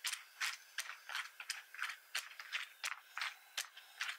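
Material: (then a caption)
Plastic. Fingertips on one hand type and tap on the keys of a black plastic membrane computer keyboard with red accent keys and a hollow casing. About eighteen short, bright plastic clicks and clacks come in an uneven rhythm, each stopping almost at once, with no low thump beneath them.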